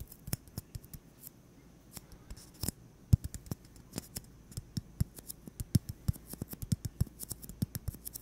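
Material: Styrofoam.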